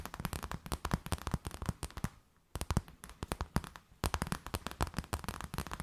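An empty, clear plastic bag is scratched and tapped with long nails, making a rapid run of sharp, dry crinkles and clicks. There is a brief quiet pause around the two-second mark before the crinkling resumes.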